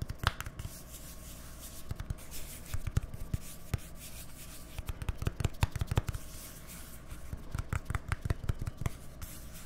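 Fingernails scratch and rub the printed white label and body of a small hollow plastic deodorant stick container with a green cap, held close to the mics, with some light taps mixed in. The clicks and scrapes come in quick, irregular bursts with very short decay over a low, steady hum, and they cluster more densely in the second half.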